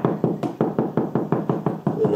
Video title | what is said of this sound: Franklin Sensors ProSensor M90 Stud Finder Review | it sounds Hollow obviously there's nothing you hide there you can kind of tell where the studs are